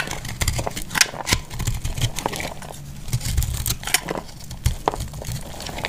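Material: Soap.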